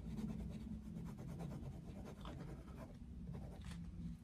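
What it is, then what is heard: Coloured pencil shading on paper. The tip of a wooden coloured pencil makes fast, rasping shading strokes across the thin paper page of an open colouring book lying flat on a desk. A steady, quiet scratching runs throughout over a low hum, with brief brighter strokes standing out here and there.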